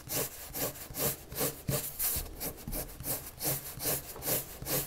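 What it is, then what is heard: Pencil shading on paper. A red colored pencil makes repeated shading strokes across a white paper sheet lying flat, scratching the paper surface. Steady back-and-forth scratches rise and fall in a loose rhythm, each stroke a bright, dry rasp over a soft low rumble.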